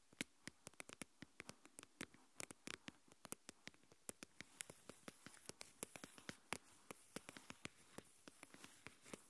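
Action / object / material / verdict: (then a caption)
tap / plastic deli tub partly filled with coarse salt / plastic / none. Long nails tap and scratch the sides of a translucent plastic deli tub with its lid on, partly filled with coarse white salt, while it is held in both hands. Many quick, sharp, bright clicks fall in an irregular patter, each dying away almost at once, over a soft, quiet scratchy rustle that grows slightly busier in the second half.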